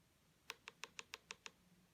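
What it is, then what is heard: Acrylic nail not yet hardened. Fresh acrylic on a fingernail is tapped seven times in quick succession to test whether it has cured, giving short, dull, high-pitched ticks. It is not clicking yet, so the acrylic has not hardened and must be left to set longer.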